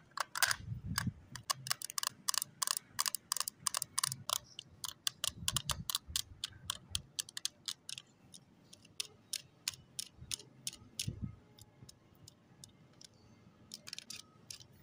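Long nails tap on the lid and edges of a small closed pink plastic case holding lip tints, resting on cloth. The sound is quick, bright, dry clicks with almost no ring. They come in dense bursts at first and thin out to scattered taps, with soft low thuds in between.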